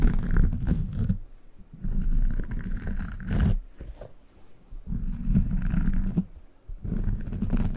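A small, solid, brown, textured soft rubber squishy dog toy is held in one hand close to the microphone and squeezed and rubbed with the fingertips. This produces deep, rumbling, squelchy friction sounds in four long bursts, separated by quieter pauses with faint crackles.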